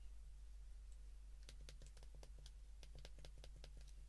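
The number keys of a white plastic flip phone held in the hands are pressed with a thumb and fingertip in a fast clicking rhythm. After about a second and a half of quiet, short, bright plastic clicks come in quick succession over a steady low hum.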